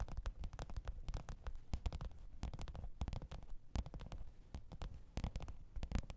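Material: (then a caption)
Faux leather. Long pointed nails tap and scratch the top of a black textured faux-leather hard-shell microphone case with a zipper, lying flat on fur. Quiet, rapid, dull taps come with short scratchy strokes. The sound is deep and muffled, and each tap dies away almost at once.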